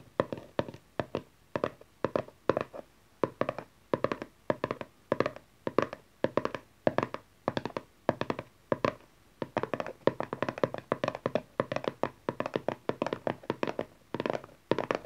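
A small, dark cardboard tarot card box lying flat on satin is quickly tapped with the long nails and fingertips of both hands. The result is rapid bursts of dry, hollow taps and clicks with a mid-range tone and almost no ring. The taps continue in steady clusters throughout.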